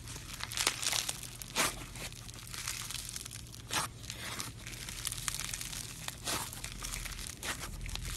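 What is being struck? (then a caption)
Slime filled with styrofoam beads. Pink floam, a slime filled with styrofoam beads, is squeezed in a fist and pulled apart with the fingers. It gives off dense, bright crinkling crunches, with louder bursts scattered throughout over a steady low hum.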